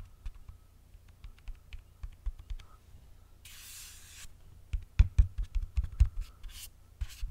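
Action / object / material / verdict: scrape / printed paperboard box / cardboard / none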